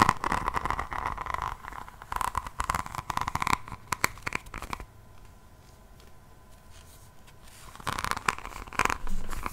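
Long painted fingernails of both hands scratch across the front of an upright, roughly A5 hardcover diamond painting notebook whose cover is set with small faceted resin rhinestones. Dense, crunchy, clicking scratches fill the first few seconds, then drop to a quiet stretch with only a faint steady tone. The scratching picks back up at the end.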